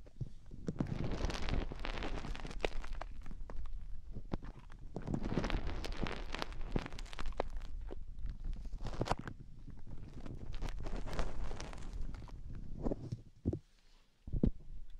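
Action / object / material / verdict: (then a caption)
scrape / silicone rubber microphone ears scratched by fingernails / silicone / none. Long painted fingernails scratch and dig inside both white silicone rubber microphone ears. The result is a close, dense stream of muffled, low scratching, crunching, and rubbing, with a brief quiet gap near the end before a final scrape.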